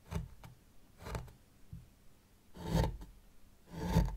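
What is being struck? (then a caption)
Fine sand in a small tray, raked with a plastic rake. A white plastic rake, held in long-nailed fingers, is drawn through fine sand in a small hexagonal zen garden tray to make patterns. A series of soft, low, grainy scraping strokes is heard, some louder and longer than others, each fading quickly into quiet between passes.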